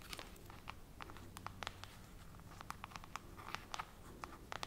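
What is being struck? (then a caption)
Glass bottle of syrup. A full glass bottle of rice syrup with a paper label is held up in both hands while fingernails tap and scratch the glass. Many quick, dry clicks ring briefly around 1.2 kHz with bright edges, over scratchy friction and a low steady hum.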